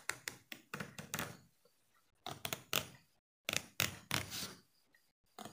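A small solid yellow plastic hair comb is held flat between the fingers while the thumb and nails flick its teeth. About 14 bright, sharp plastic flicks come in short bursts separated by quiet pauses, each dying away quickly with a light rattling buzz.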